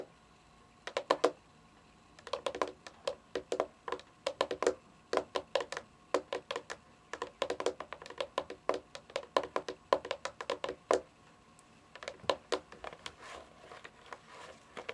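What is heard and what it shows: Long fingernails rapidly tap and drum on the top edge of a white, hollow plastic game console casing, roughly console-sized, lying on carpet. The sound is a stream of crisp, hollow clicks in quick bursts separated by short pauses, with a mid-pitched plastic tone. Each tap dies away almost instantly.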